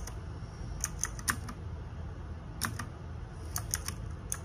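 Fingertips and nails type on the plastic keycaps of a small RGB-backlit 60% mechanical keyboard. Sharp, bright clicks come in short clusters with pauses between them, over a steady low background rumble.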